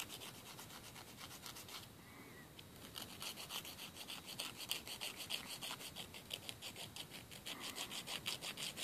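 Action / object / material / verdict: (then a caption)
scrape / emery board filing a fingernail / emery board / none. A thin, solid emery board nail file is held upright and rubbed against the edge of a fingernail, close-up over a wooden table. It makes quick, repeated bright scratchy rasps, about three strokes per second, centered near 3 kHz. The strokes briefly soften around the two-second mark, then return louder and more clearly separated toward the end.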